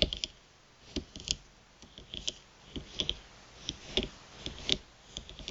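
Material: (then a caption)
Plastic. Long pointed nails tap and scratch the surface of a thin plastic gift card lying flat on a mat. Quiet, bright, dry clicks come in an irregular patter with brief scratchy bursts between them, each tap dying away almost instantly.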